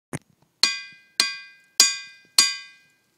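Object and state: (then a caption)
Ringing rock. A boulder at the Ringing Rocks site in Bridgeton, Pennsylvania is struck, giving one short dull knock followed by four evenly spaced strikes. Each strike rings out with a clear, high, bell-like metallic clink that fades over about half a second.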